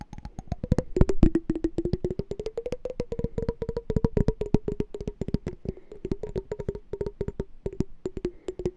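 A small, hollow, clear glass candy jar with a pink-and-white checked lid, partly filled with water, is tapped and scratched on its sides and bottom with fingernails. A rapid, steady stream of short, dry clicks and taps rides on a faint tonal ring that slides in pitch as the tapping moves around the jar.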